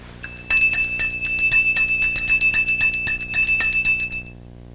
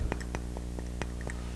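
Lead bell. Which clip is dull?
The second.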